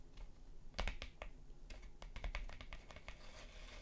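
Long nails scratch across and tap on a thin printed paper postcard lying flat, producing a quiet series of short, bright, crinkly clicks and scratches. The taps decay quickly over a steady low rumble.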